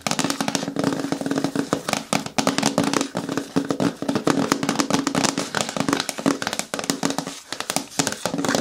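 Fingernails tap rapidly on a hard plastic container bin, a bucket with a lid, producing a dense run of short, bright clicks. Each tap dies away almost instantly over a faint hollow tone near 277 Hz.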